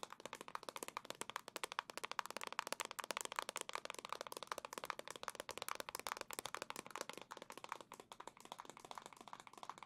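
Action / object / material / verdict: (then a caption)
tap / plastic back of a handheld game console / plastic / none. The black plastic back of a Legend of Zelda OLED Switch console, held in both hands, is tapped rapidly with long nails. The result is a dense, steady stream of crisp, dry clicks that stop instantly, with no ring.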